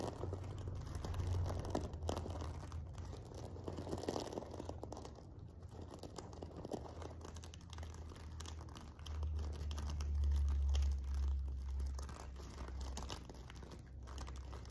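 Fingers and nails scratch along the top edge of the sequins on a silver sequin-covered fabric pillow. The result is a steady, dense crinkling and rustling texture with a strong low rumble underneath that swells louder toward the end.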